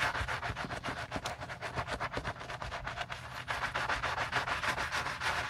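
A gloved hand scrubs soapy foam into the upper and inside collar of a white leather Gucci Ace sneaker with a wooden-handled bristle brush. Rapid back-and-forth strokes, about three to four per second, make a steady, bright, scratchy rubbing hiss over a faint low rumble.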